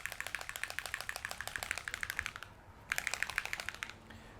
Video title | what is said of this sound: Green Stuff World - Conductive Paint Tutorial - #askHearns | it comes with a little ball bearing inside to help you shake it up so you can hear that